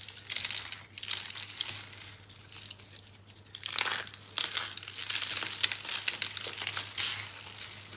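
Fingertips crumble pink dry soap flakes and rolled rose curls, then pick up a solid rolled soap rose. Bright, dry crinkling and crunching comes in bursts with a faint steady low hum beneath.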